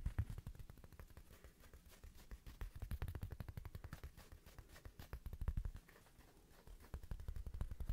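Fingertips tap quickly and scratch across a small, thin, solid square woven rug-style coaster with a red patterned fabric face, held in the hands. The result is a dense run of soft, dull, low thuds with a very short decay and a faint scratchy texture. The tapping eases briefly near the six-second mark before picking back up.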